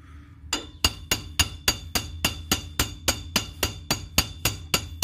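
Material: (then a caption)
Cast iron. A steel L-shaped rod or wrench knocks a rusty, heavy, hollow cast iron car brake drum, still stuck on the rear axle hub with its wheel studs, while one hand steadies the drum to free it. Seventeen sharp, bright metallic clanks come at a steady pace, each dying away almost at once over a low background hum.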